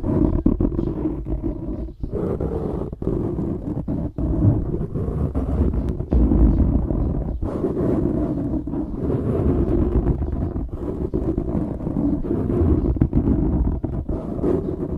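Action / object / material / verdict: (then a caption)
scrape / foam microphone windscreen / foam / none. Fingertips scratch and rub a black foam windscreen on a microphone. The result is a continuous, dense rustling and crackling that is heaviest in the low end, with rapid scratch strokes and occasional louder low bumps.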